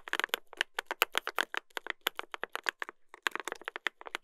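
A mechanical keyboard (Dolphin 2021) with a brass plate and plastic keycaps, black alphas and white modifiers, is typed on with the fingertips of two hands. Quick, bright, clicky keystrokes come in fast runs with a short pause near the middle. Each click is sharp and dies away almost at once, with very little low end.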